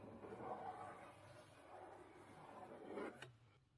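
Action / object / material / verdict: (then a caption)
scrape / corrugated cardboard box / cardboard / none. Long pink nails trace and tap over the lid of a closed, medium-sized blue corrugated cardboard Book of the Month box, which may be hollow or partly filled. Soft, dull scratchy rustles swell and fade in the mid range, followed by a single brief, sharper tap near the end that quickly dies away into quiet.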